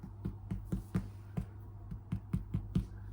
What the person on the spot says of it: And you just give it a tap. And it sounds hollow.